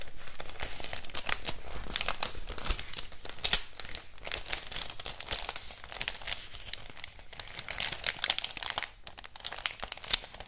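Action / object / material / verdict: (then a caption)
scrape / thin printed paper wrapping sheet / paper / none. A thin floral-print paper wrapping sheet is folded and crumpled between both hands and crinkled with the fingers. The result is a dense, irregular stream of crisp crinkles and bright crackling bursts over a low rustle, fading somewhat softer toward the end.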